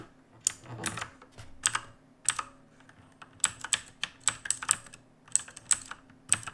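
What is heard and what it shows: Fingertips of both hands type on the plastic keycaps of a black mechanical keyboard resting on a wooden desk. Sharp, bright clicks and clacks arrive in irregular bursts, each one dying away almost instantly, with little low-end weight beneath the crisp, high tapping.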